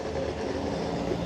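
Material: Nothing is struck.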